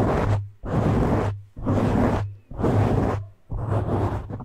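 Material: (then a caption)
Foam. A medium black soft porous foam windscreen over a hollow cover on a condenser microphone is scratched and gripped with both hands' fingertips and short nails. Broad, dense rubbing swells come in roughly regular bursts, each about a second long, separated by short gaps. The sound is heavy with low rumble and has a muffled top end.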